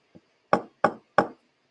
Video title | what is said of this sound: Ocean Acidification | here you have a full clam shell